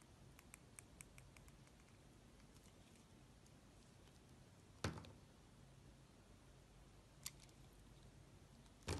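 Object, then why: Carved bar of soap. A steel utility-knife blade cuts and scrapes grooves into a fist-sized piece of solid yellow and green soap carved to look like a bell pepper, held in fingers with painted nails. Faint, quick ticks of the blade come first over a quiet low hum, followed by three sharper, brighter cuts that stop abruptly with almost no ring.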